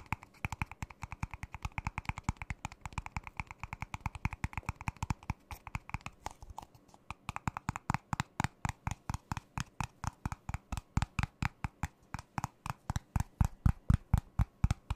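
An empty, thin, ribbed, disposable clear plastic cup is held in the hands and tapped and squeezed with the fingertips and nails close to the microphone. About 95 quick, dry taps come in fast irregular bursts, each with a soft low thump and a bright click that stops almost at once. After a brief lull near the middle, the taps grow louder and more evenly spaced toward the end.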